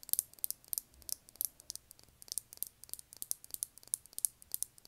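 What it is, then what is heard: Lip gloss tube tapped with nails. Long manicured nails tap a small, rectangular, thick-walled clear lip gloss tube filled with copper gloss and topped with a silver cap, held in one hand. About two dozen quiet, bright, crisp clicks come in a quick, irregular rhythm, each dying away instantly with no ring.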